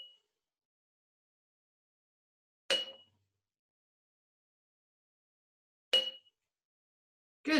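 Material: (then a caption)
Glass. Empty quart-size glass canning jars, all identical, are tapped one after another, giving short bright clinks with a ringing tone near 2.9 kHz. Two full taps stand apart, with the tail of another at the start and the onset of one more at the end. They sound pretty much the same pitch because the jars are empty and the same size.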